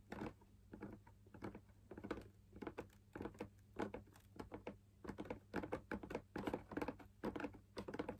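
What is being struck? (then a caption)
Fabric-laminated drum lamp shade. Fingers tap the outer wall of a hollow, perforated, fabric-laminated drum lamp shade, producing soft, dull, muffled thumps in quick, irregular bursts. Each tap dies away almost at once, with a papery low-mid body over a faint steady low hum.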